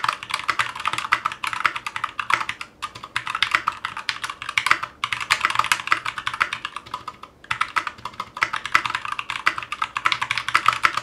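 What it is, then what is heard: Mechanical keyboard with ABS plastic keycaps. Continuous fingertip typing with both hands on a 60% mechanical keyboard in a metal case with GMK ABS plastic keycaps, resting on a cutting mat. Rapid, bright clacks run in dense bursts centered in the upper mids, with brief pauses near 3, 5 and 7.5 seconds. Each keystroke is short and dry with almost no low end.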